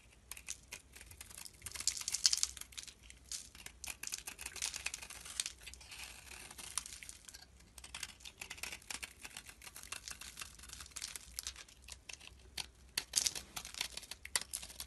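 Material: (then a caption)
Soap. A knife blade scrapes and shaves the surface of a solid, rectangular red-orange soap bar held in the fingers. The sound is a dense run of quiet, crisp, crinkly scraping bursts, almost entirely high and bright with very little low end. It swells in a few louder stretches and cuts off sharply between strokes.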